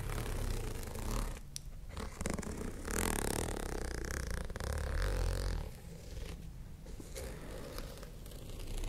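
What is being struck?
Studded faux-leather pouch.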